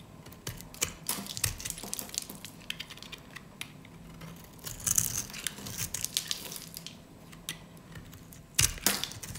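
A metal utility blade scrapes and cuts a hand-held, solid, light-green rectangular bar of dry soap with a scored surface, crumbling soap cubes off it. The result is a dense, irregular run of crisp, bright crunches and scratchy crackles with very short, dry decay. Louder bursts come around the middle and near the end.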